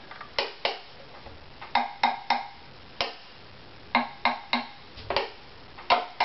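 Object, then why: Wooden violin top. A strung wooden violin with a hollow body lies on its side on a mat, held by the neck, while the top near the bridge is tapped with a thin stick. A string of short, dry, woody knocks comes at uneven intervals, each with a brief hollow tone around 720 Hz and a quick decay, over a quiet background.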